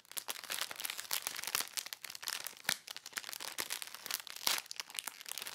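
Fingertips and nails scratch, rub and pinch the surface of a clear, thin polyethylene bag about 30 cm square, which holds a folded dark shirt and lies flat on a lace tablecloth. The result is a dense run of bright, crisp plastic crinkling and crackling, made of rapid short bursts with almost no low end and very little ring.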